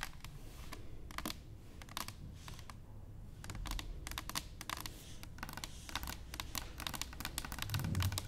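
Long nails and fingertips tap rapidly on an upright, hollow stainless steel cylinder canister. The taps are quick, bright, and clicky, with very little ring, over a steady low hum.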